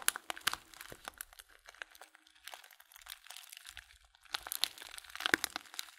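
A filled Blutorange paper tea bag is held close in one hand while fingertips crinkle its paper edge. Dense, bright crinkling and crackling ticks come in quick, dry bursts, louder at the start and again near the end, with quieter stretches between.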